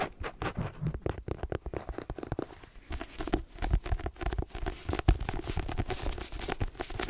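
Long green nails quickly scratch and scratch-tap the cover and page edges of a paperback novel, "The Twins," a solid block of paper. The result is a dense run of short, dry taps and rasping scratches with a dull, low body and faint bright scraping, with almost no ring after each hit.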